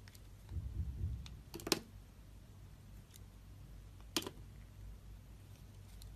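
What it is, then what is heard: Bar soap being shaved. A metal utility-knife blade scrapes and shaves thin strips from the surface of a solid rectangular yellowish bar of soap held in the hand. A soft low rustle of handling is followed by two crisp, bright scraping clicks, one near the middle and one later. Each dies away almost instantly against a quiet background.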